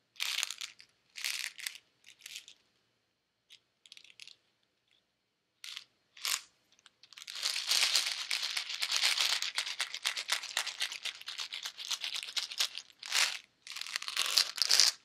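A small white plastic pill bottle with a cap, hollow and likely partly filled with pills, is held in a hand with long red-painted nails and handled or shaken. Short, bright, crinkly rattling bursts come first with pauses between them. These give way to a dense, continuous high scratching rattle before ending in a few more separate bursts.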